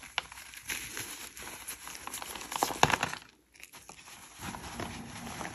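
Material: Chalk.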